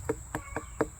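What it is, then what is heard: Watermelon thumped to check ripeness. A garden watermelon still on the vine, with a yellow belly where it touches the ground, is thumped four times to check its ripeness. Each knock is a short, dull, mid-pitched thud that dies away almost instantly, over a faint steady high-pitched hum.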